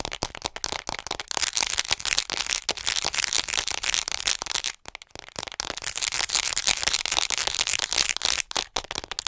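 Long nails tap rapidly on the front of a hollow white plastic acupuncture model doll held upright, producing a dense, bright, crackling stream of clicks. The tapping runs continuously, with a brief lull a little before the midpoint before resuming just as fast.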